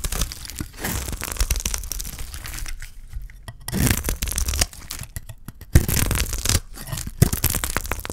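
A utility knife blade scrapes across a solid, thick block of dry green soap, shaving off curls. Dry, gritty tearing and scraping bursts come in uneven runs with short quiet gaps, bright and crackly with a low rumble underneath.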